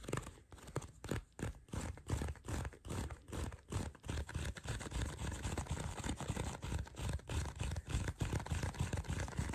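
Fingertips and short nails scratch and tap rapidly across the surface of a small folded black leather card wallet with card slots, held in both hands close up. The result is a quick, uneven run of soft, dull scratching taps, mostly low in tone, with brief rough bursts of scraping noise.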